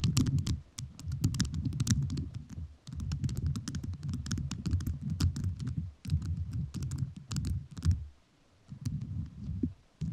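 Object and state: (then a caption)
Rhinestone-covered microphone tapped with rhinestone nails. A microphone fully covered in rhinestones is tapped with fingertips whose nails are also covered in rhinestones. Rapid, crisp clicky taps ring out briefly over a deep, muffled low thumping that swells in bursts and drops away in short pauses.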